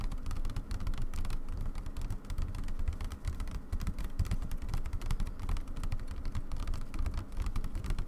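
Both hands with long nails tap and scratch the stretched white aida fabric in a wooden embroidery hoop resting on a table. The result is a steady, rapid patter of dull, drum-like thumps, with faint bright scratchy streaks running through it for the whole clip.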